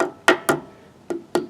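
A metal Buddy Bearing cap on an RV trailer wheel hub is tapped four times to make sure it is all the way on. Each tap gives a short, solid knock with a midrange tone and a bright edge that dies away quickly. The cap sounds solid, showing it is fully seated.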